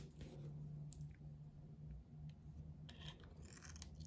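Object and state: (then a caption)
Bar of soap being scraped with a blade. A hand-held solid soap bar with a blue painted coating and red heart decals is scraped with a metal box-cutter blade, taking off coating and soap in shavings. Soft, quiet scraping and crunching sounds sit over a low steady hum, with brief bright scratchy bursts.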